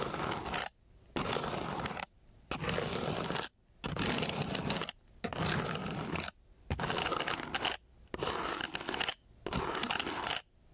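The end of a thin wooden craft stick scratches across a flat, gritty sheet of coarse sandpaper in eight separate strokes. Each stroke is a rough, dense, broadband scraping hiss that is strongest in the mid and upper range, and short quiet gaps fall between the strokes.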